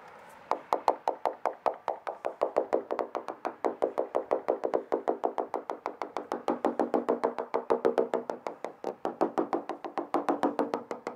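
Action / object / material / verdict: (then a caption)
tap / fiberglass boat transom / fiberglass / solid. A hammer taps rapidly across a fiberglass boat transom, checking a couple of areas that a moisture meter flagged, in a steady run of dozens of short, sharp knocks. Each tap is crisp and solid, with a mid-pitched body and almost no ring. The bonded transom is judged not delaminated, though one spot sounds a little different because something sits behind it.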